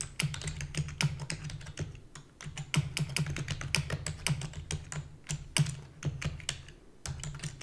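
Fingertips with long natural nails rapidly type on a black full-size plastic computer keyboard with hollow key housing. Dense, quick, sharp clicks with bright tops fade almost instantly. They sit over a steady low hum that briefly drops out near the two-second mark and again near seven seconds.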